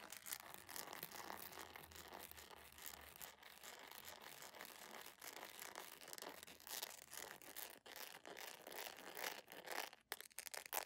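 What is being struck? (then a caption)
Soft plastic sandal. A beige jelly plastic sandal with a bow is turned in the hands while long nails scratch and tap its sole and edge. The result is a dense, fast stream of bright scratching and sharp clicky taps with rubbery squeaks, steady in level with a few brief dips.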